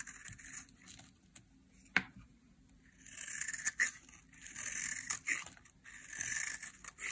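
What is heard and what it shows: A utility knife blade scrapes thin flakes off a solid bar of dry yellow soap held in hand, and the shavings pile up below. Bright, crisp scraping strokes come in bursts, each a dry hiss centered around 2 kHz and higher, broken by a few sharp ticks, with almost no low end.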